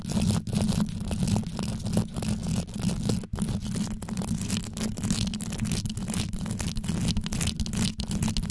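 Long yellow nail tips scratch and tap downward on the rhinestone-covered grille of a black condenser microphone. The result is a dense, continuous rumbling scratch, heavy in the low end, broken by quick taps and brief dropouts.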